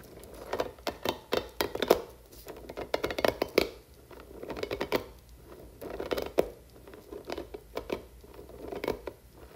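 Long nails scratch and stroke the spiky nubs of a blue, hand-sized, hollow silicone fuzzy puffer toy with long strands, and the toy is also stretched. The result is clusters of quick, dry, scratchy crinkling bursts centered in the midrange around 500 Hz, with sharp bright clicks and short pauses between groups.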